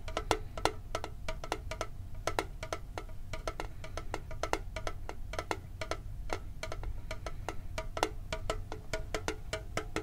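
Fingertips tap quickly on a hollow, hand-sized printed metal Pokemon card tin held near the microphone. A rapid stream of short, dry clicks carries a faint metallic ring around 440 Hz that dies away almost at once. A steady low rumble runs underneath.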